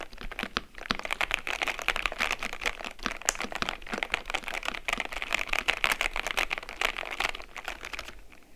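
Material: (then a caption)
Plastic. Both hands type on the keycaps of a white and grey plastic mechanical keyboard with long-nailed fingertips. A steady, dense stream of quick, bright clacks continues throughout, concentrated around 2.3 kHz, with little low end and almost no ring after each keystroke.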